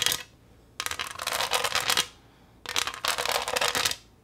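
Long acrylic nails tap and scratch across the front of a flat green pressed-glass pineapple tray with a diamond texture. Bright, rapid clicking and scraping comes in two long bursts after a brief opening flurry. Each burst is a dense run of short, dry ticks with no ring.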